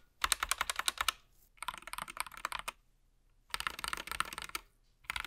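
A gloved hand types with its fingertips across different areas of a SteelSeries Apex Pro TKL mechanical gaming keyboard with plastic keycaps and an attached wrist rest, lying flat. Four bursts of quick, bright, clacky keystrokes are separated by short silences, each click dying away almost instantly.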